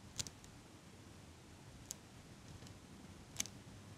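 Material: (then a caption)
Metal. A small metal eyelash curler with a black rubber pad, held right at the microphone, is squeezed and released by fingers with long pink nails. Three main crisp, bright metallic clicks stand out, with fainter ticks around them, over a quiet low hiss.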